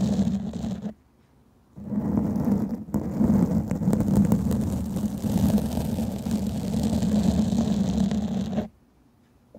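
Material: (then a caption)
Foam. Long fingernails of both hands scratch and rub a black foam microphone windscreen, producing a dense, muffled, low rumbling scrape centered near 190 Hz with almost no bright content. The rubbing runs continuously, stopping briefly at about one second and again near the end.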